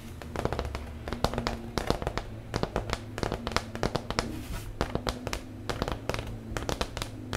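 Fingertips and nails tap and scratch the face of a large, flat, thin, solid brown MDF fiberboard clipboard held up in the air. A rapid, uneven run of sharp, dry taps with quick scratchy rubs between them sits over a steady low hum.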